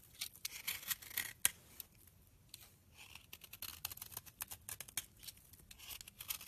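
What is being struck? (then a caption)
Soap bar scraped by a metal blade. A utility knife blade carves the corner of a solid, rancid pink soap bar, scraping off chunks and flakes. The cuts come as quick, dry, bright scraping and crackling bursts with almost no low end, one sharper snap standing out early on. Each stroke stops abruptly, and quieter pauses between them are followed by a denser run of short scrapes toward the end.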